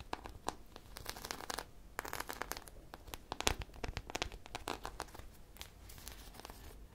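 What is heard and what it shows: A hand-sized soft polyurethane foam squishy shaped like an ice cream popsicle, with a purple coating and textured sprinkles, is held close to the mic and scratched and tapped with long painted nails. Quiet, dry crinkly scratches and short bright tapping clicks come in quick uneven bursts. The brief, crisp sounds barely ring.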